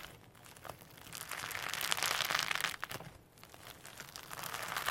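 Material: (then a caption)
Slime, sequins. A firm slime mixed with extra loose holographic sequins sits on a table and is pulled apart and pressed with the fingertips. The result is a steady run of bright, crinkly crackles and soft squishes with very little low end. The sound swells loudest through the middle, dips briefly, then rises again.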